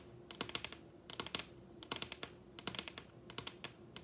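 Long red acrylic nail tips tap rapidly with both hands on the surface of a large, solid wooden dining tabletop. The taps come in four quick bursts of sharp, bright clicks that stop almost instantly, with a faint steady hum underneath.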